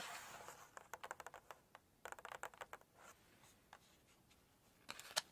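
Long nails scratch and rub across the glossy paper pages of an open Chinese cookbook while the pages are handled. A soft, airy rubbing swish gives way to bursts of short, crisp, bright scratches and taps with quiet gaps between them, ending in a louder brushing scrape of the paper.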